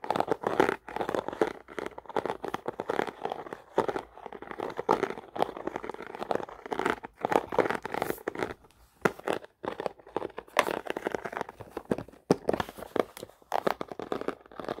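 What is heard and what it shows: A small hollow blue plastic lidded box with a dotted textured lid is held close and tapped and scratched on the lid with pink-painted fingernails and fingertips. Dense, rapid crinkly taps and scratches with a bright, dry, plasticky character come in bursts with brief pauses.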